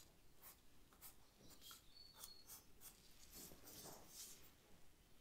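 A charcoal stick is stroked across the paper of a sketch pad while shading a leaf, making soft, dry, scratchy rasps. The short strokes come in quick, irregular bursts that reach up into bright highs, with a few faint high squeaks. A low, quiet background rumble sits underneath.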